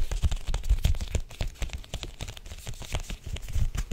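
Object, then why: Thin picture book with a cardboard cover. Long acrylic nails tap and grip the illustrated cardboard cover of a small, thin, solid picture book held up in both hands. A rapid, uneven run of soft, low thumps is heard, each with a crisp, bright, crinkly click on top and a very short decay.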